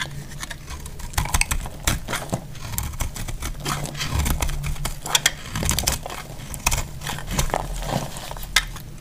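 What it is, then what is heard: Dry soap bar. A solid, dry yellow soap bar held in the hand is shaved with a metal utility knife blade, shedding crumbly yellow flakes. Dense, dry scraping and crackling strokes come in quick succession, each a short, bright crunch with a low rumble underneath and almost no ring.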